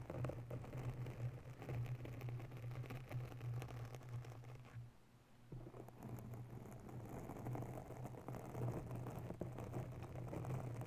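Bare, long natural fingernails of both hands scratch and tap a round, soft, porous grey foam cover on a white desktop USB microphone. The result is a dense, continuous scratchy rustle over a steady low hum, with a brief quieter pause around the middle before the scratching resumes.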